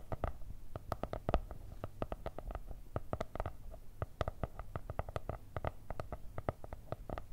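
Long nails tap and scratch the brown kraft cardboard cover of a spiral-bound notebook decorated with stickers. The result is a quick, uneven run of short, dry, hollow taps with a soft low thud, each dying away almost at once, over a faint scratchy rustle.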